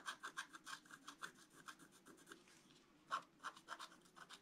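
A wooden stylus held in the fingers scratches lines into the coating of a flat, black-coated scratch-art card, about A4, lying on a table while the other hand steadies the sheet. About twenty short, dry, raspy strokes are heard, each with a bright scratchy edge centered around 1 kHz. There is a brief quieter pause partway through before the strokes resume.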